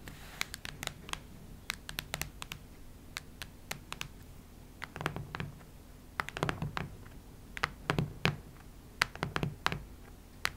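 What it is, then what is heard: Hardcover notebook. Long red nails tap and scratch near the center of a cactus-print hardcover notebook with a cardboard cover. Quick, dry, bright clicks that die away almost at once are scattered unevenly throughout. They are mixed with softer, duller scratching bursts, which cluster more densely in the second half.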